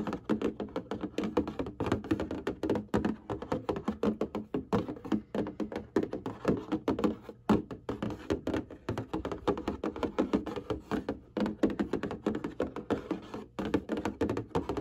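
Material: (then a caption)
Cardboard. Fingertips and long painted nails tap and scratch across the front of a large, flat, printed cardboard package of colored hanging file folders. The result is a steady run of quick, dull, hollow taps with very short decay, mixed with soft scraping. The sound is mostly warm low-mid, with little brightness.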